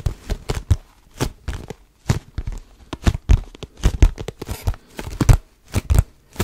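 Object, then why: Cardboard tissue box. Fingertips grip and scratch the sides of a cardboard tissue box, tissues showing from the top, held close to the mic. The result is a quick, irregular run of short, dry scratching and rustling bursts with a dull, bass-heavy body and a faint bright edge, each one cutting off almost at once.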